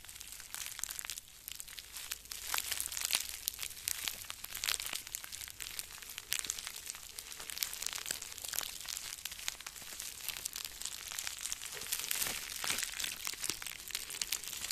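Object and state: Plastic bubble wrap being crinkled.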